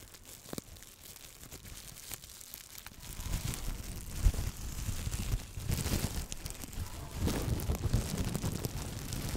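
A loose sheet of clear plastic bubble wrap is held in both hands in front of the microphone and crumpled and squeezed with the fingertips. A quiet, sparse crinkle with a few sharp pops builds after about three seconds into dense, low-heavy crinkling and crunching, with bright snapping pops throughout.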